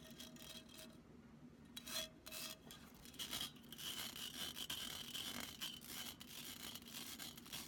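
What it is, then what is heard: Metal mesh pen cup being scratched. Long nails scratch up and down a hollow, empty black metal mesh pen cup held in both hands. Dense, bright rasping scrapes fill the clip, with a faint metallic ring around 3.2 kHz that hangs above the scratching. A steady low hum sits underneath.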